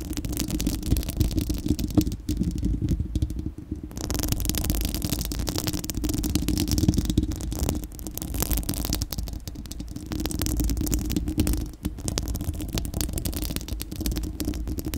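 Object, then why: Steel mesh microphone grille. Long acrylic nails on both hands scratch a bare, hollow, dome-shaped round steel-mesh microphone grille. The result is a dense, continuous rasping and rattling, heavy in low rumble with a steady hum near 180 Hz. It has brief quieter dips around 4 and 12 seconds.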